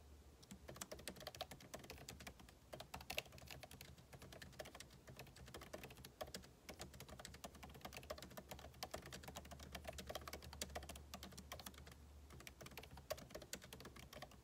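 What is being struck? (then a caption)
Laptop keyboard with plastic keys in a metal body. Fingertips with short nails type rapidly on the plastic keycaps of a backlit MacBook Pro keyboard set in the aluminum body of a thin, hollow-shelled laptop. A dense, steady stream of quick, bright, dry clicks and taps runs throughout, with a faint low hum underneath.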